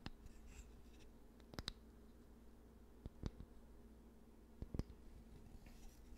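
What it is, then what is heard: Wooden hair brush, bristles scratched. A handheld hair brush with a solid wooden body and dense black bristles is scratched and brushed by fingertips across the bristles and handle, close to the mic. Soft, dry scratching and rubbing rises from a quiet, low hum, broken by sharp, brief clicking accents in clusters.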